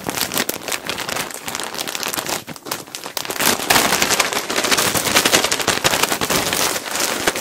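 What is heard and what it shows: A clear plastic bag full of cotton balls, held against the mic, is scratched and tapped rapidly with fingertips. It makes a dense, bright crinkling and crackling with almost no low end, dipping briefly around the middle before growing louder and busier toward the end.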